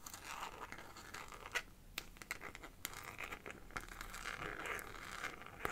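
A small, hollow, transparent plastic phone case filled with purple glitter liquid is held in both hands and tapped and scratched with long painted fingernails. Soft, bright scratching runs throughout, broken by sharp, quick clicks that die away almost at once. The overall level is quiet and close.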